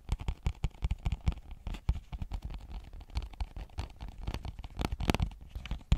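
Long painted nails tap and scratch a small, flat, hollow cardboard retail box with a clear plastic window showing a marble phone case. A rapid, irregular run of soft, low, hollow thuds is mixed with brief crackly scratches, each sound dying away almost instantly.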